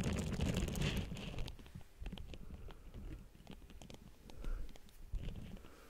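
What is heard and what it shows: A pink silicone facial cleansing pad draped over the grille of a Blue Yeti microphone is scratched and tapped on its silicone bristles with long nails and fingertips. The result is a dense stream of soft, low, muffled thumps and rustling scratches with a few brighter clicks. It is loudest at the start, quieter in the middle, and swells again near the end.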